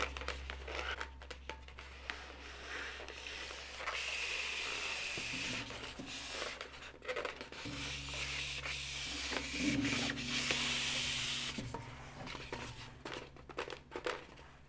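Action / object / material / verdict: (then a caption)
scrape / inflated latex modelling balloon / latex / none. Long, pointed, white-tipped nails scratch and rub along the surface of a long, blue, inflated, hollow latex modelling balloon. The result is a bright, squeaky friction hiss centred near 2.8 kHz, with quick uneven strokes and louder sustained rubbing passages. A steady low hum sits underneath.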